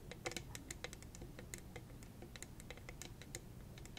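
Long red acrylic nails rapidly tap and scratch a hollow, purple, rhinestone-studded cylindrical tumbler. The result is a quick, irregular stream of sharp, bright clicks and ticks over a soft, low background rumble.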